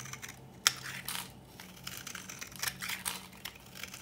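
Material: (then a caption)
Soap. A metal knife blade scrapes and shaves the surface of a palm-sized, old, dry pink bar of soap held in one hand, breaking off crumbly flakes and powder. The sound is a series of dry, bright, gritty scratches with soft crinkling between them and a sharp crack near the start. Each stroke fades almost immediately.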